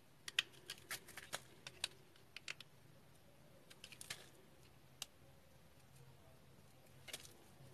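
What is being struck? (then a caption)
Bar of soap cut with a blade. A solid yellow soap bar held in one hand has its edges shaved and scraped with a red-handled box cutter blade over a pile of yellow soap chips. Quiet, dry, bright little clicks and scrapes come in a quick cluster at first, then thin out to a few scattered ones. Each one stops instantly with no ring.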